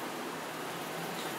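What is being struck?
Nothing is struck.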